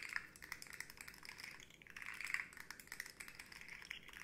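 A rainbow segmented hard plastic slug fidget toy with hollow segments, tapped and scratched with long nails and bent so its segments click. The result is a dense, quiet stream of light clicks and scratchy ticks with very short decay, centered around 2 kHz with bright, high sizzle above and almost no low end.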